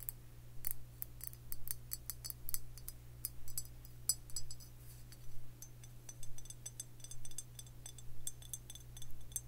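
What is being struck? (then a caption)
Glazed stoneware jug. Long fingernails tap a hollow Tullamore Dew whiskey jug, a white and green glazed stoneware jug with a handle. The taps are short, bright, dry clicks with almost no ring, falling in a steady rhythm of clustered bursts over a constant low hum.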